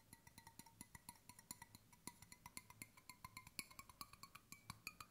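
A large, hollow, brushed stainless steel water bottle, held sideways, is tapped with fingertips along its body and bottom. A quiet, rapid run of light, dull taps is heard, each with a short metallic ping around 1 and 2 kHz and bright overtones. The pitch shifts slightly as the fingers move across the bottle.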